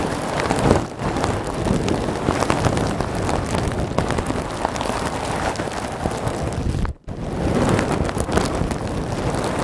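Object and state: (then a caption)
Plastic bag of polystyrene beads. Both hands squeeze a clear plastic bag full of small white polystyrene foam beads and scratch it with fingertips and nails, the bag sitting behind the microphone. The result is a dense, steady crackling rustle with a low rumble underneath, much like heavy rain. It cuts out to near silence for a moment around the seven-second mark, then picks up again.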